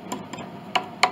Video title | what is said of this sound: Chickering 33B 1867 Conservative Restoration Part 4 | this pin block this all has separations down inside